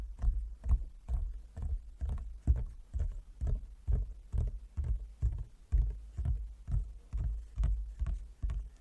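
Fingertips of both hands tap on a large, closed, hollow wooden folding chess board, partly along its top edge. The result is a steady run of soft, dull, low knocks, a little over two per second, each dying away almost at once with a hollow, boomy thud and no bright ring.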